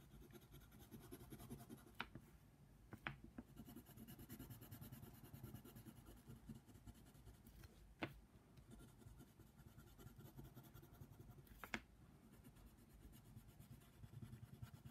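A yellow colored pencil tip is scratched back and forth over a flat paper coloring book page in shading strokes. The result is a steady, quiet, papery scratching with a few sharp, brief ticks where the pencil taps or catches the page.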